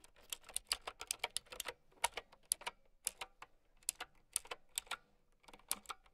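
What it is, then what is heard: Plastic mechanical keyboard. Long nails type on a plastic mechanical keyboard with round keycaps, producing 26 sharp, bright clicks in an irregular rhythm over about six seconds. Each keystroke is a short, dry tick with almost no low end and no ring, separated by brief silences.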